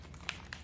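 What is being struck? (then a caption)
Plastic bottle of fluid acrylic paint with a metal mixing ball. A bottle of high flow acrylic paint is shaken hard, and the small silver metal mixing ball inside gives two sharp, bright clicks over a low background hum. The bottle is shaken until the ball is heard because the paint separates.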